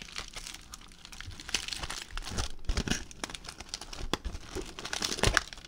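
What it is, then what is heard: Crumpled aluminium foil ball. A crumpled aluminium foil ball is squeezed and crinkled with fingers, producing dense, continuous crackling and crinkling with sharp, bright snaps scattered throughout. The crinkles swell and fade in uneven bursts over a low rustling undertone.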